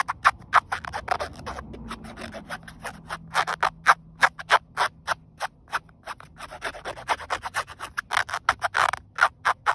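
A fingernail rubs and scratches along the ribbed weave of a flat, grey woven polyester car seatbelt strap in sunlight. About 40 short, dry, bright scratching strokes come in an uneven rhythm, each dying away almost at once.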